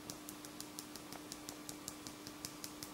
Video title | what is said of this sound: Le pansement de soie | une fois que le pansement il est sec on l'entend voyez ya pas de bruit sourd c'est un petit bruit aigu